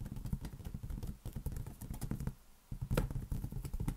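A large, hollow, air-filled green latex balloon is held in one hand and tapped rapidly with the fingertips of the other. The taps make a steady stream of dull, low, drum-like thuds that die away quickly. After a brief lull, one tap lands noticeably harder before the quick tapping resumes.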